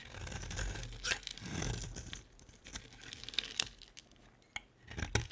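A solid white bar of soap, its pink outer layer mostly carved away, is held in the hand and shaved into flakes with a utility-knife blade. Dry, crisp scraping and tearing strokes come through with bright crackle and a low rumble underneath, broken by a few sharp clicks of the blade near the end.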